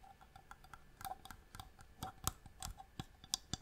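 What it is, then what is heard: Inlaid wooden box tapped with nails. A small, hollow wooden box with striped marquetry inlay, held in the hand, is tapped with long nails on its lid and sides. The result is a quiet, irregular series of sharp, dry clicks and taps, bright and high with a little low thump beneath and almost no ring.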